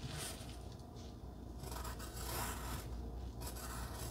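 A wooden pencil point rubs and scratches over a flat pink cardstock heart resting on dark fabric, writing and then drawing a small heart. Soft, steady scratchy strokes come in bursts with a low rumbling undertone and brighter swishes as the pencil moves.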